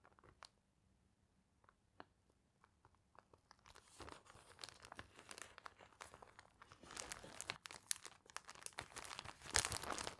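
A clear plastic sheet protector holding a newspaper page is held in both hands above a binder while fingertips bend and crinkle the thin plastic sleeve. It starts with sparse, quiet, sharp ticks and grows after about 4 seconds into dense, bright crinkling and crackling that stays loud to the end.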